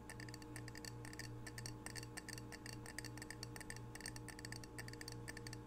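A small, solid, square ceramic Edmonds coaster is held in the hand and scratched and rubbed with fingertips and nails. This makes a quick run of crisp, bright scratching clicks over a steady low hum.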